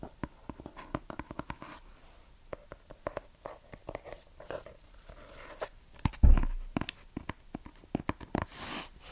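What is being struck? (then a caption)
Small cardboard gift box wrapped in kraft paper. Long nails scratch and tap rapidly on a small, hollow rectangular gift box wrapped in brown kraft paper and tied with red string, held close to the microphone. Dry, papery taps and scratchy crinkles come in quick, uneven bursts with a hollow, low-heavy body. A louder thump lands about two-thirds of the way through.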